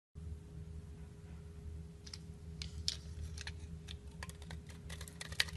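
A metal knife blade scratches and scrapes shavings off the top of a solid yellow bar of soap with an embossed logo, held in a hand with long painted nails. Short, crisp, bright scraping ticks come at an uneven pace over a steady low hum and a faint constant tone.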